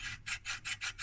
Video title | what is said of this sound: Rohde & Schwarz Empfänger Mess Sender SMAF BN41404 1954 test teardown | this sounds like metal against metal so this is definitely broken